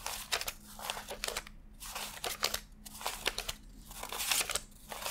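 Fingertips flick and rub thin US $100 paper bills one by one from a handheld stack, laying them onto strapped stacks. Quick, bright, crisp papery flicks and crinkles come in rapid bursts with short gaps, over a faint steady low hum.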